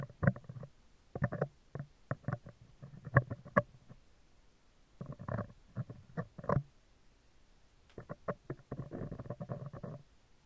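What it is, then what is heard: Metal microphone grille scratched. Metal tweezer tips scratch across the right side of a round, hollow steel wire-mesh microphone grille. The result is bursts of low, rumbling scrapes with dry taps and crackles. They come in three clusters separated by short pauses.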